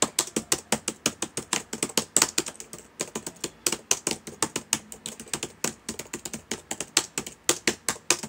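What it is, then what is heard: Plastic laptop keyboard being typed on. Fingertips of both hands type steadily on the plastic keys of a black laptop keyboard. A rapid run of over fifty short, dry, bright clicks, each dying almost instantly, with small irregular pauses between bursts.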